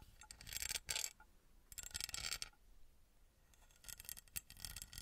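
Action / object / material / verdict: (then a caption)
scrape / small embossed metal pyramid / metal / none. Long red nails scratch and tap a small, copper-coloured, ornate metal pyramid with an embossed surface, held in the hand. Bursts of bright, raspy scratching alternate with quiet pauses, and short dry ticks stand out within them with almost no ring.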